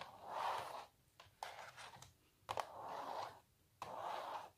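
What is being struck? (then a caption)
Printed canvas stretched on a wooden frame. Long natural nails scratch across a small, hollow printed canvas stretched on a wooden frame. The result is a series of dry, raspy scraping strokes, centered in the midrange with some bright edges. Brief quiet pauses separate the strokes.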